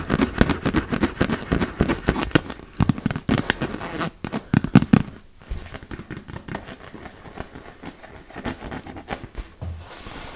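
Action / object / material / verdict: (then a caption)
tap / inflatable vinyl beach ball / vinyl / none. Long red nails rapidly tap and scratch the taut plastic of a large, fully inflated, hollow blue and yellow PVC beach ball. The result is a dense stream of short, crackling taps with a hollow, low thump, loudest in the first half and softer, scratchier patter after about five seconds.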